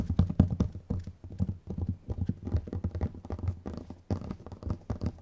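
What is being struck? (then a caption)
Small round plastic jar lids tapped with fingernails. Long nails tap quickly on the plastic lids of two identical small, round, clear plastic dome containers with strawberry labels and red contents, one held in each hand. The result is a rapid, irregular patter of short, dull, low clicks with almost no ring.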